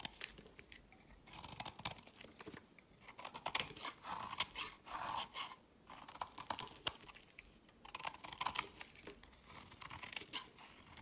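A metal utility blade shaves and scrapes flakes off the edge of a solid rectangular white soap bar with remnants of a green coating, held in the hand. Soft, crisp scraping strokes come in short bursts with bright, papery crunching and tiny clicks, separated by brief pauses. The sound is quiet and close, with almost no low end.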